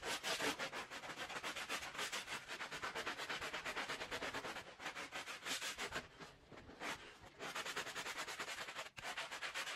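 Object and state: Wool pile rug being scrubbed.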